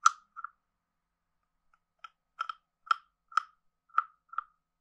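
A hand-sized hollow carved wooden frog guiro is played with a wooden stick scraped across its ridged back and tapped. Short, dry, hollow clicks and croaks centered around 1.3 kHz come in scattered bursts, some doubled, each with a bright edge and almost no ring, separated by silence.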